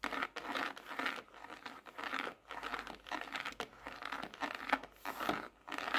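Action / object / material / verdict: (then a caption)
tap / hardcover paper notebook with glossy cover / paper, card / none. A closed dark hardcover notebook with a tropical printed leaf pattern, a solid paper block lying on a desk, is tapped on its glossy cover with fingertips and nails. Quick, papery taps and scratchy crinkling come in bursts with short pauses, with no low end and a midrange-heavy tone.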